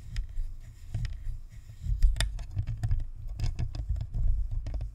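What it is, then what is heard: Plastic ball microphone shell. Long acrylic nails scratch and tap the shell of a hollow, white plastic spherical Blue Snowball USB microphone with a metal grille and chrome badge, sitting on a stand. The result is a close, deep rumbling of muffled thumps and rubbing, with short, bright clicks and ticks scattered over it.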